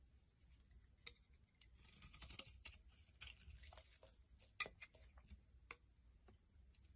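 A metal blade scrapes shavings off a solid rectangular orange bar soap with a pink core, held in the hand. Soft, bright scratchy scraping and patter run throughout, with scattered crisp little clicks and ticks as the shavings break away, all at a quiet level.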